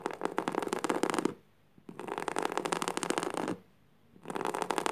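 Fingertips and nails scratch across flat, coarse woven jute burlap fabric lying on the floor. Three bursts of dry, rough, rapid scratching are separated by short quiet pauses, with a gritty texture and no ring.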